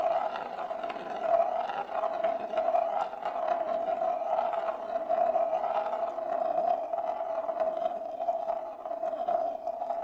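A single glass marble rolls in circles on the inner surface of a large, shallow, hollow bamboo plate that is empty and held in both hands. It makes a steady, resonant rolling rumble with a strong mid-range hum that swells and fades slightly as the marble circles, with faint brighter clicks throughout.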